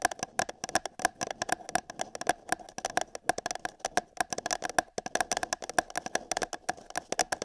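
Long nails tap and scratch the side of an empty, hollow printed paper cup held over a binaural microphone ear. Rapid, irregular, sharp taps click brightly, each with a short hollow ring around 715 Hz, over a light scratching rustle. The taps keep up a quick, uneven patter for the whole clip.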